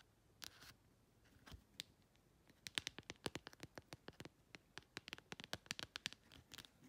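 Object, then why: Plastic phone case. Long red acrylic nail tips scratch slowly across the flat printed back of a phone-sized clear plastic case with a printed "ASMR" insert. A few scattered scrapes give way to a dense run of short, crisp, bright scratches that stop dead with no ring.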